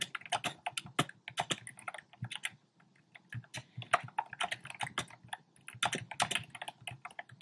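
Fingertips type rapid key taps on a compact black plastic typewriter-style keyboard with round plastic keycaps. The clicks are short and bright with a dry, quick decay, and the burst of typing pauses briefly near the middle before resuming.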